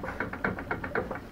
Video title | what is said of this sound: How Bad Are The Monster's Front Wheel Bearings? | there's something inside that's rattling really bad